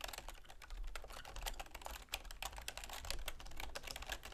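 Long manicured fingernails and fingertips rapidly tap the keys of a full-size black plastic computer keyboard with a silver plastic frame resting on a wooden desk. The result is a dense stream of short, bright, clicky plastic taps with very little ring, over a steady low hum.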